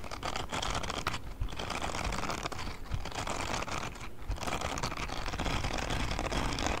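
Fingertips scratch and flick across the spikes of a grey silicone spiky scrubbing glove held by its palm pad close to the mic. The result is a dense, continuous crackle of rapid, dry flicks and rubbery scrapes over a soft low rumble, at a steady, close level throughout.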